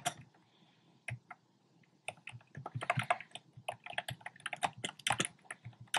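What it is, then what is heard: Plastic keyboard being typed on. Fingertips with short painted nails type on a compact black plastic typewriter-style keyboard with round plastic keycaps. A few isolated key taps in the first two seconds give way to rapid, dense typing. Each tap is a short, sharp plastic click with a bright top and a quick decay.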